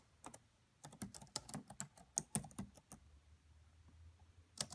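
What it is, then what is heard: Plastic laptop keyboard being typed on. Long manicured nails and fingertips of both hands tap rapidly on the black plastic chiclet keys of a red laptop with a hollow body. About thirteen quiet, sharp, bright clicks come in uneven bursts, with short pauses between them and a faint low hum underneath.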